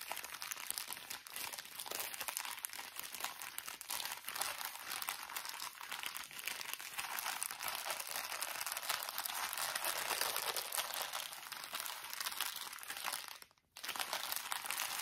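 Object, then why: Thin plastic drawstring bag of cotton pads. A small, thin plastic drawstring bag full of cotton pads is turned and crinkled in the hands. A steady, dense, bright crinkling runs almost throughout, with little low end. It is broken only by a brief near-silent pause at about 13.5 seconds before the crinkling resumes.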